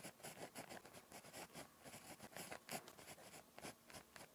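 A ballpoint pen tip scratches continuously across a thin, flat lined paper notebook page while writing Korean script. It makes quiet, dry, papery scratching in quick, uneven strokes, with short bright bursts and a soft midrange rasp.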